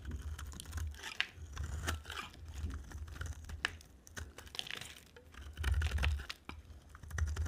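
A solid green-and-white striped bar of dry soap is shaved and carved with a utility-knife blade. The clip is a steady run of crisp, crackly scraping and cutting sounds with sharp bright ticks, over a dull low thump, and it swells louder in bursts toward the end.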